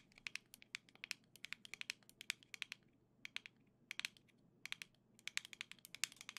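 Long nails tap rapidly across the hollow black-and-gold plastic shell of a Nintendo Switch Joy-Con grip, making about 39 sharp, bright clicks. The clicks come in quick bursts with brief pauses, and each one dies away almost instantly.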